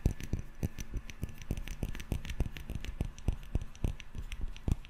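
A small glass candle jar filled solid with yellow wax and topped with a metal screw lid is held up and rapidly tapped and scratched with fingertips and nails on its glass body. The taps come quickly and irregularly as soft, dull thuds with brief, bright clicky edges and almost no ring, mixed with faint scratching between them.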